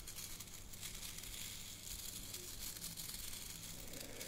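Long fingernails scratch and rub across the stiff natural bristles of a hand-sized brush with a wooden head and handle. The result is a steady, dry, crackling rustle that is bright and high, with a soft low rumble underneath.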